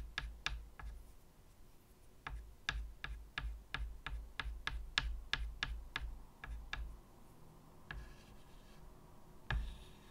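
White chalk taps in dots and short strokes on a medium, flat chalkboard in a wooden frame, making a run of sharp, bright clicks at an uneven pace with a soft scratch between them. After a pause, a couple of scattered taps and a faint scrape finish the clip over a low, quiet background.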